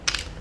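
A KAT Blank keycap made of PP plastic is dropped, giving a short, bright click-clatter concentrated in the high frequencies. The impact rings only briefly, and the keycap sounds slightly hollow rather than dense or solid.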